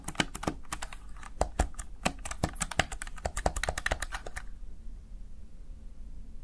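Fingertips and nails of one hand rapidly press and tap the keys of a small backlit plastic Razer Tartarus Chroma gaming keypad, producing a quick, irregular run of sharp clicky plastic taps. The tapping stops at about four and a half seconds, leaving only a faint low background hum.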